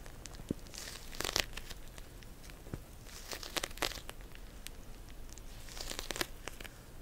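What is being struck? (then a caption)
Plastic pouch filled with gel beads. Long nails scratch and tap a pink plastic cold pack pouch filled with gel beads, making crinkly, rustling scratches broken by sharp, bright clicking taps. The sounds are quiet and close, with crackly high detail over a soft low rumble.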